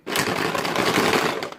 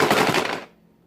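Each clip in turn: First: plastic bottle rattle with plastic beads. Second: plastic bottle shaker filled with wooden beads.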